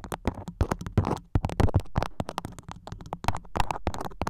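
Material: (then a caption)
Waxed cotton. A floral beeswax-coated cotton food wrap stretched over the top of a microphone is scratched and pinched with long nails. The result is a rapid run of close, crinkly taps and scrapes with deep thumps and short bright crackles, each dying away almost instantly.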